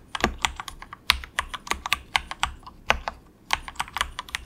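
Fingertips of both hands type softly on a cheap, compact 68-key plastic mechanical keyboard with a hollow case, resting on a desk mat. Some twenty quick, bright clacks land in an uneven rhythm, each dying away almost instantly, with little low-end weight.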